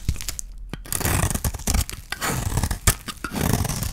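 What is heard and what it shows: A metal blade scrapes and cuts across the surface of a dry yellow soap bar held in the hand. The result is a steady run of crunchy, tearing scrapes with a bright crackle over a heavier low body.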